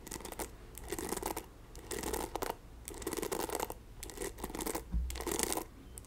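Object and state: Plastic paddle hairbrush, bristles raked.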